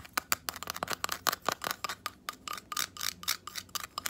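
Long acrylic nails tap and scratch a palm-sized natural abalone shell, with an iridescent nacre interior and a rough outer side, held in both hands, working across the inner and outer surfaces. A quick, irregular run of crisp, bright clicks with almost no ring is mixed with short, hissy scratching bursts, and the taps carry a faint high tone around 1.2 kHz.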